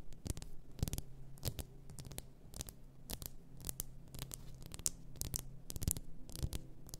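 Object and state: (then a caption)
Glass bottle full of bath salt. Long nails tap and scratch the shoulders and sides of a large bottle, apparently glass, full of pink bath salt. Quick, sharp, bright clicks with almost no ring mix with softer scratching strokes. The clicks come in an uneven stream over a faint low hum.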